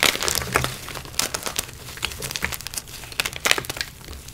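Bare fingers squeeze, crush and rub a broken block of dyed gym chalk, purple and pink inside and white outside, in a bowl of loose white chalk powder, while two intact white blocks sit unused nearby. The solid, brittle chunks give bright, dry crunching and crinkly crumbling in a rapid series of short cracks with almost no ring.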